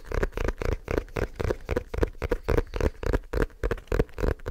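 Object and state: Leather-covered book.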